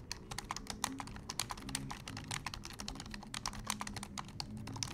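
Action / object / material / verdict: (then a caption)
tap / plastic computer keyboard / plastic / none. Fingertips of both hands type fast on a black plastic desktop keyboard, producing a rapid, uneven stream of short, crisp clicking key taps with bright tops. A steady low hum sits underneath the clatter.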